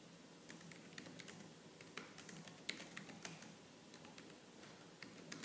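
Both hands, using long lavender-painted nails and fingertips, type fast and continuously on a laptop keyboard with black plastic keys. Quick, bright plastic clicks and taps pile up over a low, steady hum. Sharper key strikes poke out now and then, centred around 2.2 kHz.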